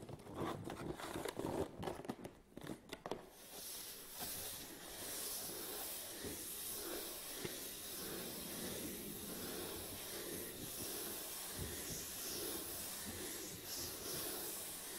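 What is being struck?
Cardboard box.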